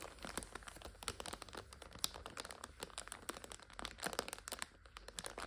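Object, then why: Plastic film wrapping of an instant noodle multipack. Fingernails pinch, scratch and crinkle the plastic film of a full instant-noodle multipack lying on its side. The result is a quiet, continuous run of sharp, bright crinkles and crackles with very little low end, each snap dying away almost instantly.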